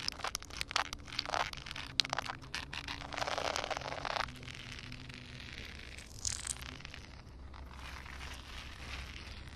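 Long painted nails and fingertips tap and scratch on a large, flat, solid outdoor concrete surface covered with a thin layer of water. Sharp, quick clicks come first, then a longer bright scraping passage and softer wet rustling over a faint low steady hum.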